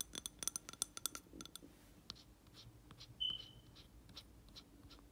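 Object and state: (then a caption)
Glass candle jar. Fingertips and nails tap and scratch the side and rim of a round glass jar filled with wax, holding a lit candle. A quick run of bright, sharp glassy clinks comes first, then softer, scattered scratches and ticks, with a brief high ringing tone in the middle. The sounds are quiet and high-pitched, with almost no low end.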